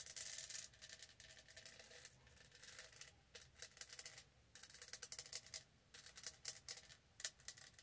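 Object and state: Studded plastic tumbler.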